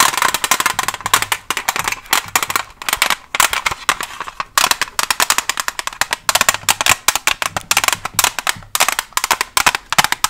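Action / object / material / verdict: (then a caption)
tap / plastic blister pack with cardboard backing / plastic / none. Long nails covered with paperclips tap fast on a Staedtler pencil package, a plastic blister on a cardboard back holding pencils. The result is a dense, rapid stream of sharp, dry clicks and crackles, bright and hollow with a plasticky tone around 1.1 kHz and almost no low end. Each tap stops almost instantly, with brief pauses between bursts.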